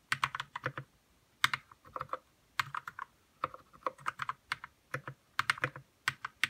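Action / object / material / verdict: tap / plastic mechanical keyboard with plastic keycaps / plastic / none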